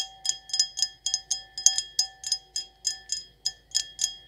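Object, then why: Stemmed glass wine glass. An empty, hollow stemmed wine glass with an etched circle pattern is tapped and scratched with long acrylic nails, giving sixteen quick, bright clinks. Each clink carries a thin, steady glassy ring with clear tones near 750 Hz and 1.7 kHz, plus higher bright overtones, and dies away quickly between taps.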